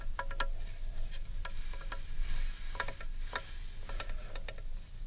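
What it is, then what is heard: Carved wooden bowl tapped with fingernails. Long painted nails tap the outer surface of a large, hollow carved wooden bowl held upright in one hand. The result is a scattered series of short, crisp clicks with a bright, brief ring. A steady low rumble sits underneath.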